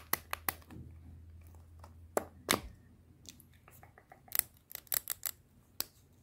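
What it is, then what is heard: Plastic lipstick tube. Long painted nails tap and scratch a small, hollow black plastic KIKO lipstick tube held in the hands. Sharp, bright clicks stand out against quieter scratching in between, and each tap stops almost instantly with no ring.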